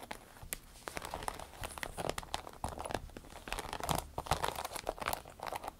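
A small striped glossy vinyl zippered pouch is tapped and scratched on top with fingernails, with some squeezes that make it crinkle. Dense, quick clicks and scratchy crinkles overlap in a busy, irregular patter with short, dry decay.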